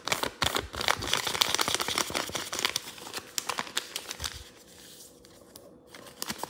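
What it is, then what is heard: Thin origami paper being folded. Fingers open, fold and flatten a folded crane base of thin pink origami paper on a table, creasing and rubbing it. Dense, bright crinkling and crackling fill the first few seconds, then thin out after about four seconds into sparse soft ticks and rustles over a faint steady hum.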